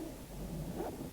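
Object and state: Nothing is struck.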